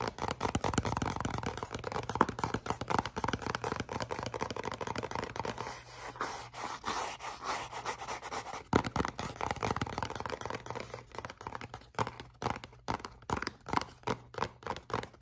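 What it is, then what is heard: Cardboard box scratched and tapped. Fingernails scratch and tap a small, hollow, black printed cardboard perfume box held up in the air. Dense, dry scratching and rustling fill the first half, with a faint low hum underneath. Toward the end it turns into quick, distinct hollow taps with very short decay.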